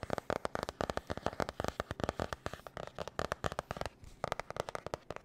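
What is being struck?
Cardboard-covered spiral notebook.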